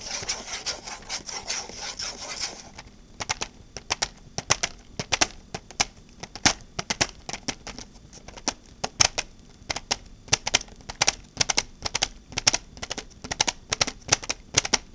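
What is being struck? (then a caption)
Clear hard plastic case. Long painted nails scratch and then tap the lid of a transparent hard plastic case with red contents. A couple of seconds of dense, hissy scratching gives way to dozens of sharp, bright clicking taps in uneven bursts. The taps are dry, with almost no ring and very little low end.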